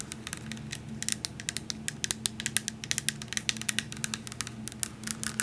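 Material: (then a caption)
Glass. Long nails rapidly tap a tall glass vanilla coffee syrup bottle, held in the hand, full of liquid and wrapped in a paper label. The result is a quick, uneven series of dozens of sharp, bright clicks that stop almost instantly with no ring. A faint low steady hum sits underneath.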